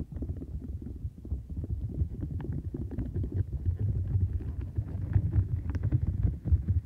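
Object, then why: Silicone scrubber mat with bristles and bumps. A light blue, bowl-shaped silicone textured scrubber mat with bristles and round bumps rests on fur while long acrylic nails scratch its bristles and press the mat. The sound is a low, muffled, continuous rumble of dense scratching and soft thuds, with occasional brighter crackles.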